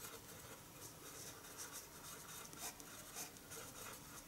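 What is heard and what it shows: A colored pencil draws across a large white sheet of drawing paper lying flat on a wooden table. Steady, quiet scratching and rubbing strokes carry a bright, hissy texture throughout, with a few slightly louder strokes standing out.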